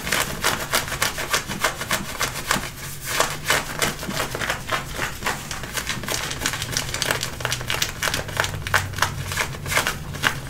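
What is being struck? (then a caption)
Denim jeans fabric. Fingertips and nails scratch and rub the waistband and hip pocket area of dark-wash denim jeans being worn. Quick, bright, rasping fabric strokes come in an uneven, rapid rhythm, each dying away almost at once over a faint low rumble.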